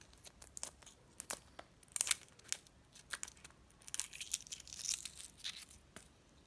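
Fingertips and nails crack and peel the thin, brittle brown shell off the white of a hard-boiled egg held in the hand. The result is a quiet run of sharp, bright crackles and dry ticks that stop instantly, with a denser crinkling patch near the end and almost no low end.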